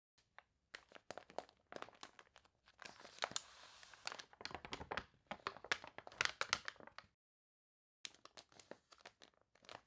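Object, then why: Glossy paper catalog pages. Long nails scratch the pages of an open glossy paper toy catalog, wrinkled from water, while hands turn and flatten its crinkly pages. Dense, bright crackling and crunching come in bursts of sharp crinkles with a steadier hiss of paper sliding in the middle. A silent gap near the seventh second is followed by more crinkles.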